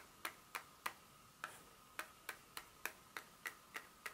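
Long pointed nails tap and scratch the back surface of a solid, flat dark chocolate bar held in the hand. Twelve short, crisp, bright clicks sound at a loose rhythm, with a brief pause near the start, over a quiet steady hiss. Each click dies away almost at once.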